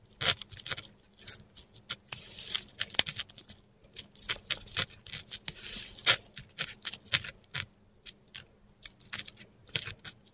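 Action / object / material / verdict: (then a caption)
scrape / metal dip pen nib on textured paper sheet / paper / none. A metal dip pen nib scratches across a flat sheet of textured Korean paper on a table, writing letters in ink. Dense, bright, dry scratches and short strokes come in quick uneven bursts, with a faint steady low hum underneath throughout.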